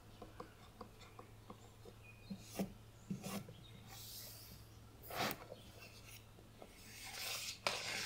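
Long painted nails scratch and tap across the dark printed front cover of a thick, closed Narnia hardcover book, then the book is turned to show its spine. Soft dry scraping and raspy rubbing run under light, sharp taps. A steady low hum sits beneath them, and a few louder, brighter strokes stand out.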